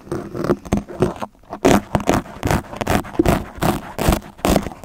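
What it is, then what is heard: Foam windscreen scraped with blades. Two yellow utility knives with extended steel blades scrape and scratch into a black foam microphone windscreen dome, leaving visible marks in the foam. Loud, close, rough scratching strokes repeat at an uneven pace with a brief quieter pause, mostly in the low and mid range with little high content.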